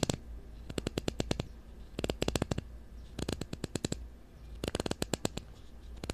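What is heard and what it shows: Fingernails scratch across the ridged blue plastic screw cap of a supplement bottle held close to the mic. Four quick bursts of sharp, bright ticks play out over a steady low hum.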